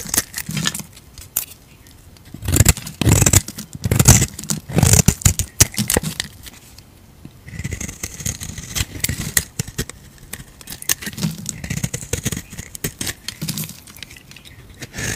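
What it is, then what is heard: Bar soap being shaved with a blade. A utility knife blade scrapes shavings off a solid pink soap bar held in a hand, making irregular bursts of dry, crackly scraping with a bright hiss and soft low thuds. The strokes come in uneven clusters separated by quieter handling, and by the end the bar is thin and handled by the fingers.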